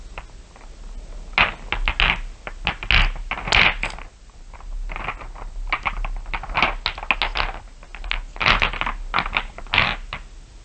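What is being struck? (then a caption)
Small glass marbles. Fingers and long nails rub and tap a pile of small solid glass marbles so they click together. Bright, glassy clicks and rattles come in quick clustered bursts with brief pauses between them. Each click rings only briefly.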